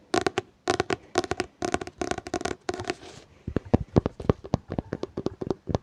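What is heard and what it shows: Fingers tap on a hardcover book in quick rolling bursts, first in dense clusters of rapid taps and then as sharper, more separated single taps. The knocks are short and dry with a low, hollow thud and almost no ring.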